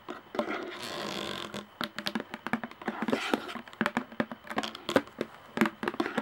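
Long nails tap the top and rim of a hollow plastic lid on a clear plastic jar while one hand holds the jar. After a brief soft rustling wash near the start, the taps come in quick, irregular bursts. Each is a short, dry, hollow click with a mid-pitched knock and almost no ring.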